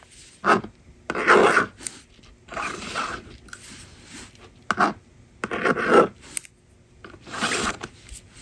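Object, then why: Plastic magnetic drawing board and plastic stylus. A yellow plastic stylus writes numbers on a small blue and pink plastic magnetic drawing board resting on a table, while a fingertip with long nails holds the board. The stylus scratches across the honeycomb screen in short dry taps and longer raspy strokes, separated by quiet pauses, with a midrange scratchy tone and little low end.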